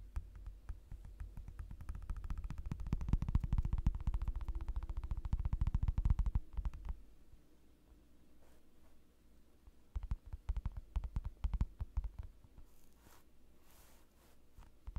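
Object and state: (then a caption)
Clear plastic desk mat tapped. Flat fingers tap rapidly on a thin, clear plastic desk mat lying on a dark desk, then slide across its surface. A dense run of short, dull, low-heavy taps builds and holds for about seven seconds, then fades to a soft quiet stretch. A looser burst of sharper taps follows before the sound settles again.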